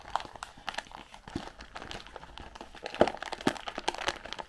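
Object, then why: Cardboard candy box with plastic window. Long pink-painted nails tap and scratch the sides and edges of a white printed cardboard Raffaello candy box with a clear plastic window, hollow and filled with wrapped candies, held up in both hands. The result is a quiet, irregular run of dry, short taps with no ring, mixed with crinkly scratching and a bright papery hiss. A few sharper, hollow knocks stand out midway through.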